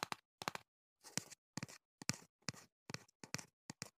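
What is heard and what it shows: Fingertips and nails tap the top and sides of a small, hollow printed cardboard box held close to the microphone. Quick clusters of short, dry taps repeat with brief silences between them, each with a bright, papery click over a soft hollow thump that stops almost at once.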